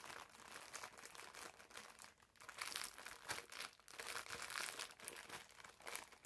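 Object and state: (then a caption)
Plastic-wrapped foam sponge. Fingers squeeze a green foam bath sponge wrapped in clear plastic film and pull at the loose wrapper ends, making the plastic crinkle. The result is a dense, continuous run of bright, crackly crinkling with almost no low end. It swells and eases in loudness, dipping briefly near the two-second mark.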